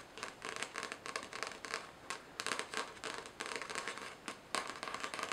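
Long nails scratch and tap the paper cover and page edges of a solid paperback novel. The result is a run of dry, brushy scratching bursts with light taps, bright in the upper mids and highs with almost no low end, each stroke stopping quickly without ringing.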